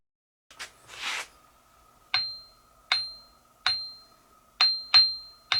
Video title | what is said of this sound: Part 3 Craftsman 1/3 HP Grinder Rebuild (Resources, Eye Shield Fabrication, Assembly) | if they had cracks in them they would have a dead sound to them which they didn't they ring